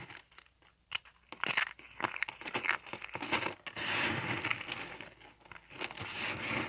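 A layered pink and white dry soap bar is broken into thin flakes with fingertips. Quick, bright crisp snaps and crinkling crunches come in rapid bursts, then blend into a denser, continuous crumbling rustle.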